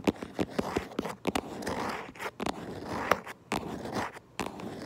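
Long acrylic nails tap and scratch across the front of a cardboard Minecraft Lego box. Sharp, quick taps alternate with dry, papery scratching strokes that trace over the surface, with brief quiet gaps between bursts.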